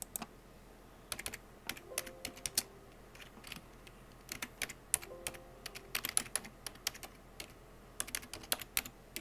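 Fingertips with blue-painted nails tap fast on a full-size black plastic computer keyboard with hollow keycaps. Bursts of sharp, bright clicks come in quick runs separated by short pauses, each click dying away almost instantly over a low, steady background hiss.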